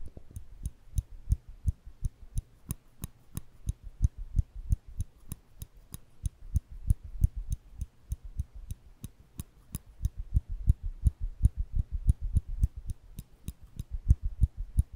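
Small silver stainless steel nail clippers are held in the fingers between the microphones while the lever is repeatedly opened and clicked shut. About fifty sharp, dry clicks come in a quick, slightly uneven rhythm of roughly three per second. Each pairs a low thump with a bright tick and stops dead with no ring.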